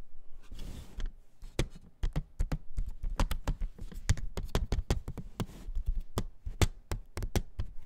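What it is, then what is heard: Plastic CD jewel case tapped. A plastic CD jewel case is tapped in a quick, irregular series of short, dry clicks with a soft low thud beneath each. Brief scratchy rustles of handling sit between the taps near the start and middle. Each tap dies away almost instantly.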